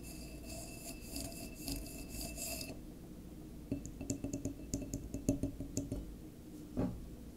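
Fingertips and nails scratch and tap a standing, full and sealed dark glass wine bottle with a paper label, working over its body and neck. A steady scratching rasp comes first, then it gives way to a run of short, quick taps. Each tap brings out a brief glassy ring with a low tone, ending in one last louder knock.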